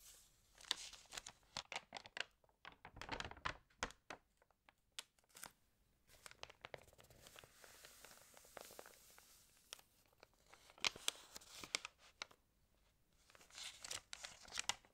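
Fingertips rub and scratch across the pages of an open, water-damaged glossy-paper magazine and turn its pages. The result is a quiet run of crisp, bright crinkles and scratchy rustles, with sharp papery snaps in irregular bursts. There is almost no low end.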